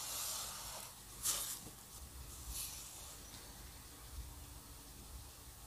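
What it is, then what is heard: Paper drawing sheet scratched by a dip pen nib. A metal dip pen nib, held by the fingertips, scratches hatching lines into an ink drawing on a flat sheet of white drawing paper resting on a table. It makes a soft, bright, scratchy hiss in short strokes, with a faint low rumble underneath.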